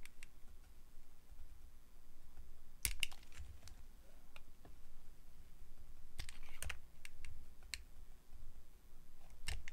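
A metal blade carves a solid translucent yellow glycerin soap bar into curling slices. Quiet, low scraping and soft rumbling run throughout, broken by sharp, bright clicks and snaps as the blade cuts, with clusters near the third, sixth-to-seventh and final seconds.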